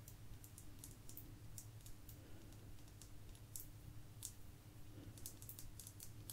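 A small, thin, solid blue agate slice held in both hands is tapped and scratched with long nails. Quick, light, irregular clicks with bright, crisp tips sit over a low steady hum.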